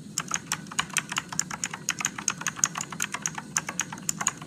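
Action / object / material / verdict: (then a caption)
tap / plastic mechanical keyboard keys / plastic / none. Fingertips slowly type on an RGB-backlit Motospeed mechanical keyboard with blue switches and plastic keycaps. A steady run of sharp, bright clicks sounds, each dying away almost instantly over a faint low hum.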